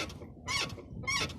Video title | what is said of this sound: Скрипит после замены и протяжки сайлентблоков. ВАЗ 2101-2107. | на каждой кочке вот такой скрип есть